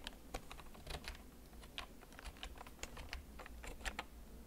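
Fingertips type slowly on a black plastic backlit mechanical gaming keyboard that is held and tilted. Each key press makes a short, bright clack, with the presses spaced apart and varying in loudness. A faint low hum sits underneath throughout.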